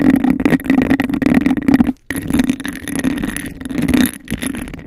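Long acrylic nails tap and scratch fast across a hollow, empty, hand-sized cup of embossed textured glass held over the microphone. The result is a dense, rapid clatter of scrapes and taps with a hollow resonance around 250 Hz and a bright ring near 2 kHz. It breaks off briefly at about 2 seconds before resuming.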